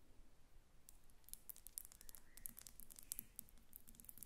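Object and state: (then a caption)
Glass perfume bottle. Long red nails tap quickly on the faceted glass sides and metal cap of a glass perfume bottle standing on a table. The result is a quiet, irregular stream of bright, high-pitched clicks and ticks that stop instantly, over a low background rumble.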